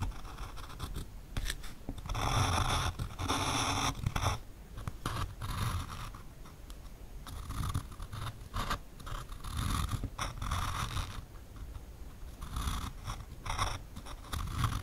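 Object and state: Pencil tracing on a plywood board.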